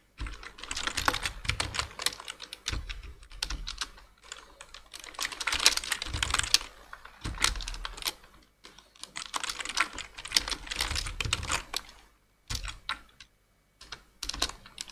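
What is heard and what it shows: Two-handed fingertip typing on a black plastic full-size computer keyboard produces rapid bursts of crisp, bright key taps with short, dry decay. Brief pauses separate the bursts, and a soft low thump accompanies some keystrokes.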